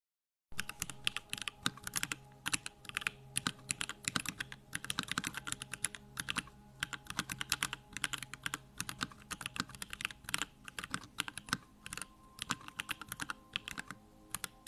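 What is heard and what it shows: Both hands type fast on a compact 65% Bakeneko65 mechanical keyboard with Durock lavender switches, a pink case, pink and white plastic keycaps and a lit backlight, resting on a wooden desk. A steady stream of short, bright, clacky key taps plays over a faint steady low hum, with each tap dying out almost at once.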